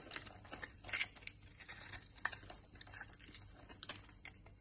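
A utility knife blade carves into a solid brown laundry soap bar, sending dry crumbs falling off. It makes a quiet run of crisp, bright scraping and crackling bursts with short, dry clicks and almost no low end.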